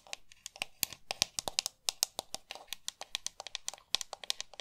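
Long nails tap and scratch across the hollow shell and buttons of a pink plastic GameCube controller. About thirty quick, dry, bright clicks and scrapes come in an irregular rhythm, each stopping instantly with no ring and almost no low end.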